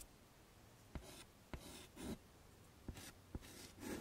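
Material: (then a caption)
Chalk. A hand drags a white chalk stick across a medium flat chalkboard in a wooden frame lying on a table, drawing curly hair lines. Short, quiet bursts of dry, bright scratching alternate with sharp ticks as the chalk touches down on the board, over a faint low hum.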